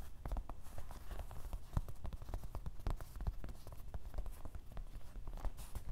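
Fingertips of both hands tap rapidly across the top of a medium, soft grey canvas fabric fanny pack lying on a table, possibly partly filled. The result is a steady patter of soft, dull, low thuds with a faint fabric rustle and no ring.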